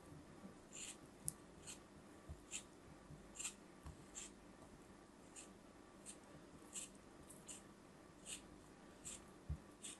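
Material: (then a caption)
Kinetic sand. A small metal palette knife slices and scrapes through a hand-held, palm-sized solid block of moulded brown kinetic sand with beige swirls, held by fingers with long pink-painted nails, with other sand shapes sitting nearby. Repeated soft, crisp crunching scrapes come through as short, bright, grainy bursts over a quiet, steady background hiss.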